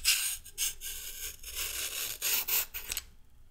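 A whole, solid raw orange carrot is held in the hand and scraped with a red-handled metal vegetable peeler, with the peel strips falling onto a wooden table. A series of crisp, bright rasping strokes follow one another, almost all of their energy high with very little low end. The scraping fades to quiet at the end.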